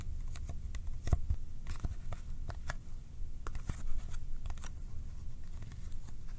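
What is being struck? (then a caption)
Small cardboard box. Fingertips tap on a small, hollow Kodak film cardboard box held in both hands, pulling off its surface with sticky touches. A quick, irregular series of short, dry clicks and peeling ticks, each with a bright edge, sits over a soft, low, muffled rumble. The hits die away almost instantly, with no ring.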